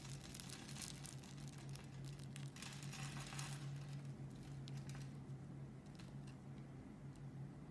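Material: Soap.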